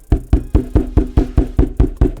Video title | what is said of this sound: Best Mixed Media Canvas - Master's Touch Paint Pouring Canvas | It is very, very taut.